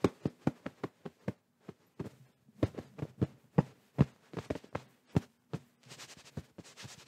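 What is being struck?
Cotton-covered fabric pillow.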